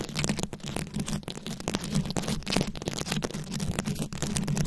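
Very long acrylic nails scratch and tap over a fist-sized microphone head fully covered in small round rhinestones, likely plastic, held close. The result is a dense, steady stream of crackly scratching and quick clicking taps over a low, constant hum.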